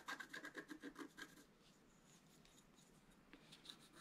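A thin wooden stylus scratches the black coating of a flat, thin, solid A4-size scratch-art card (black-coated paper board) over the antler area while the other hand holds the card. A quick run of rhythmic, raspy strokes with a bright edge fills the first second and a half, then the sound drops to near quiet. A couple of softer, isolated scratches follow near the end.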